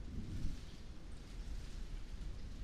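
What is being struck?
Nothing is struck.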